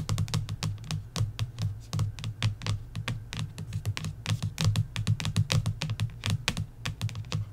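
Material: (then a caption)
Coated paper. Long nails tap rapidly across the glossy paperback cover of a coloring book, making a quick stream of sharp, bright clicks. A steady low hum sits underneath the tapping throughout.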